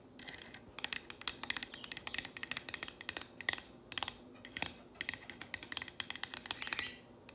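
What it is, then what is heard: Painted wooden sign. Long nails tap and trace the letters on a solid painted wooden plank sign reading "If MaMa ain't happy." The result is a rapid run of sharp, bright, dry clicks that stop instantly, with soft scratchy rubbing between them and almost no low end.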